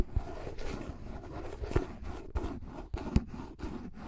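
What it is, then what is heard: Plastic flying disc. Fingertips slowly tap and scratch the top surface and edge of a pink plastic frisbee, about 20 cm across with a thin hollow shell, held above the mic. Soft, low, hollow thumps rise out of a continuous dry scratching texture.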